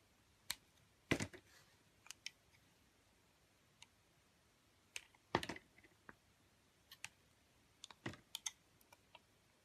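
A metal cutter blade shaves curls from the surface of a solid green marbled oval soap held in a hand with long nails. Quiet, crisp, dry clicks and short scraping bursts come at irregular intervals, some sharp and bright, a few longer and rougher, each dying away almost at once.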